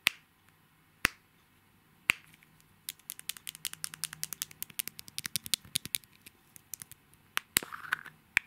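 Fingernails tap and scratch the shell of a palm-sized, hollow, gold metallic egg-shaped compact with a mirror finish, held in both hands. Three sharp, spaced taps open the clip, then a rapid flurry of bright, dry clicks and light scratches follows, each dying away almost instantly. The sound sits high and thin, centered around 2.3 kHz, with almost no low end.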